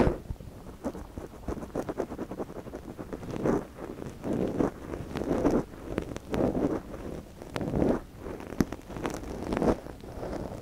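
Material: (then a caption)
Silicone. A thin wooden or bamboo stick, held in gloved fingers, scratches and rubs inside the ear canal of a small soft silicone binaural-microphone ear resting on yellow fabric, while the other gloved hand steadies the ear. Close, crackly rustling scrapes sit mostly in the low-mid range and swell into louder rubbing bursts every second or so. Occasional sharp, bright clicks stand out between the bursts.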